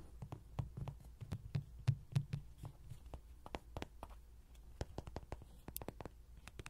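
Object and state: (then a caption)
Tapped vinyl bouncing toy. A vinyl Rody toy is tapped with fingertips and recorded up close with pin microphones. About 28 soft, irregular taps come in quick succession, each a short, dull, low thump that dies away almost at once. The sound stays quiet, with no other sounds.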